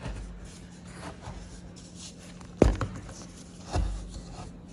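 Small solid white blocks of pressed baking soda, chalky like gym chalk and with a crumbly, dry surface, are held in bare fingers and rubbed and scraped against each other over a bed of loose powder. Quiet, dry gritty rubbing runs throughout, broken by a sharp crunch near the middle and a softer crunch shortly after. A faint steady low hum sits underneath.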